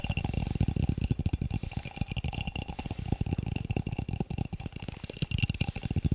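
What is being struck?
Plastic cups.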